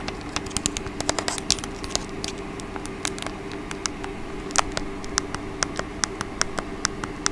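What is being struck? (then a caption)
Plastic remote control. Long painted acrylic nails tap and scratch the face and rubber buttons of a small, hollow, black plastic TV streaming remote held in one hand close to the mic, possibly with some button clicks. Sharp, bright clicks and taps come at an irregular pace over soft scratching and a steady low hum.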